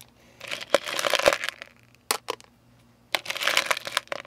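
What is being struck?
Hard-coated candies in a plastic tub.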